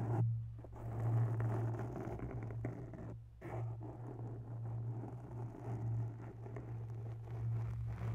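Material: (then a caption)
Foam. Long bare nails scratch the sides of a grey foam microphone windscreen up close. The sound is a soft, continuous scratchy rustle over a steady low hum, with the texture rising and falling but never stopping.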